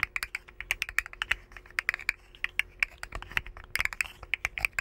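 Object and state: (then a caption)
Plastic articulated slug fidget toy. A rainbow segmented hollow plastic slug fidget toy is curled and bent between both hands, making its segments click. Quick, dry, bright plastic clicks come in rapid irregular bursts, with no ring after each click and almost no low end.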